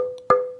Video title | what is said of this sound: PodTaf 🎧 Ep. 13 Luthier avec Sylvain Tournaire | réagit à l'impact de manière plus sèche et il est plus clair aussi